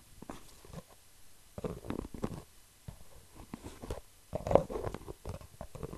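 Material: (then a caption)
Plastic. An orange and white medium-size plastic hair mask jar with a screw lid, apparently full, is held in one hand and tapped and scratched with the fingertips of the other. Quiet bursts of soft, muffled tapping and scratching come in clusters, with a dull, hollow low-mid tone and no bright edge.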